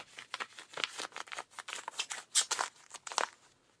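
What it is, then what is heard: Denim jeans pocket scratched. A rubber-gloved hand scratches the back pocket and seat fabric of blue denim jeans. The result is a rapid series of dry, bright, rasping scrapes with no low end, and each stroke cuts off almost instantly. The strokes come in uneven bursts and then fade out near the end.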